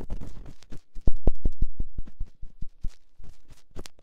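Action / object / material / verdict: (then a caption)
scrape / silicone ear of a binaural microphone scraped with a metal ear-pick / silicone / none. A metal ear-pick gently scratches inside the ear canal of a silicone ear on a binaural microphone. An irregular series of short, close scrapes and muffled thumps sounds at about four per second, heavy in the low end with brief bright rasps.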